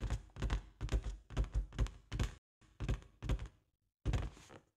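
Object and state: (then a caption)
Inflated latex balloon. A large inflated green latex party balloon with a white llama print, hollow and air-filled, is tapped and knocked with long acrylic nails and fingertips. The result is a quick, irregular run of dull, low, hollow thunks with almost no ring, broken by a couple of short pauses.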